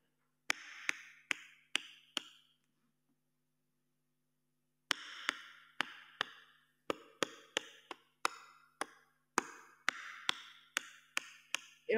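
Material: Wood.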